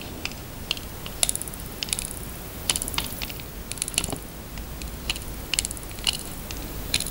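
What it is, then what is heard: Bar of handmade soap being carved. A red utility knife blade scrapes and carves grooves into a solid, cream-coloured, palm-sized handmade soap bar held upright over a plastic tub of soap shavings. The clip has repeated short shaving strokes with crisp, bright scratchy clicks that die away almost at once, over a low hiss.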